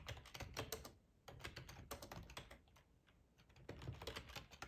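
Fingertips of both hands type on a full-size black plastic ergonomic split keyboard resting on a cloth tablecloth. Quick, short clicking keystrokes come in bursts with a thumpy low body and bright clacks, separated by brief quiet pauses.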